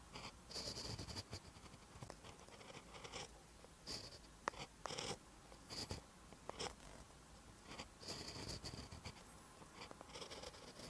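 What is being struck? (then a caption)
Pen on a paper notebook page. A pen writes green text on a lined paper notebook page, its tip scratching along the paper in short bursts of bright, dry scratching separated by quiet pauses. Small sharp ticks punctuate the strokes, and the whole sound stays soft and close.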